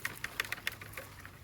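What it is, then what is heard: Makapuno coconut, no water slosh. A makapuno (kathi) coconut from the kathi-coconut row is shaken, giving several short, dry, bright clicks and taps over a faint low hum. No water slosh is heard, and the quiet shake marks it as surely a kathi coconut.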